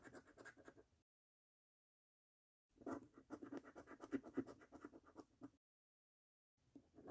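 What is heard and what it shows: A coin edge scratches the coating off the order numbers and game panels of a thin, flat paper National Lottery Snack Stack £1 million scratch card. Quick, dry scraping strokes come in three bursts separated by silent pauses, with a raspy midrange texture and thin high grit.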